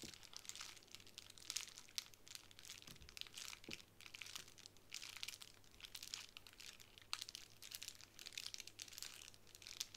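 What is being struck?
Plastic bubble wrap sheet.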